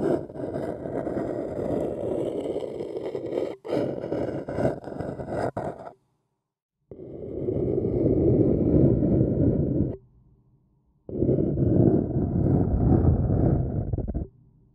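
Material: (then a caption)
Paper. An empty, hollow white printed paper cup held in the fingers is scratched along its rim and sides with a thin wooden stick. It makes a dense, hollow scraping rasp, full in the low-mids, in three long stretches separated by short silences. The first stretch has brief breaks in it.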